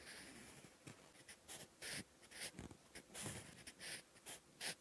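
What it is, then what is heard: Pencil writing on paper. A sharpened wooden pencil scratches across a lined, textured paper notebook page while writing characters. Short, bright, breathy scratching strokes come in irregular bursts over a faint hiss, with a soft low thud under some strokes.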